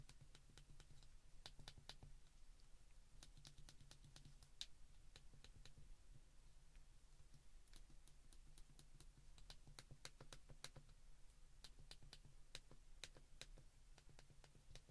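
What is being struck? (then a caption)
Plastic flip phone keypad. Fingers press the keys of a white plastic flip phone held in both hands, producing a quiet, steady stream of short, crisp, bright clicks. The clicks come in quick irregular bursts over a constant low hum.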